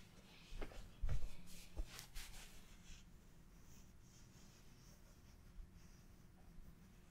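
A large purple flower-shaped cushion with a cream centre, knitted from soft chenille yarn and stuffed, is held close and scratched and rubbed with long painted fingernails and fingertips. Three soft, muffled scratches come in the first two seconds, followed by faint, steady rubbing against a quiet background.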